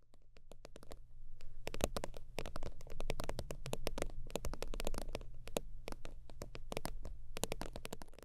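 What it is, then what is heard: Faux-leather zip wallet, tapped. Long almond-shaped acrylic nails tap and scratch quickly across the top of a long, flat, iridescent holographic faux-leather zip wallet that is soft and slightly padded and lies on a fur blanket. Dense runs of short, crisp clicks sound over a soft scratching texture and a steady low rumble, with no lingering ring after each tap.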